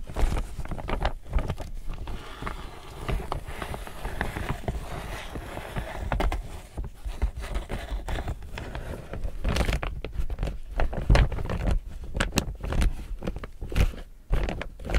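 Fingertips and nails scratch and rub the front panel of an empty, medium chevron-print laminated polypropylene tote bag. The result is a steady stream of crinkling, scratchy rustles with dense clusters of short crackles, weighted toward a low thumping body with little high-end hiss.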